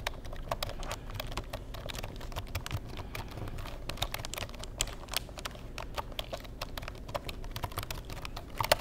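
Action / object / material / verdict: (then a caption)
tap / plastic computer keyboard / plastic / none. A black plastic Insignia computer keyboard has its keys tapped with the fingertips. The result is a steady stream of quick, light clicks. Each tap is short and bright, and a low hum sits underneath.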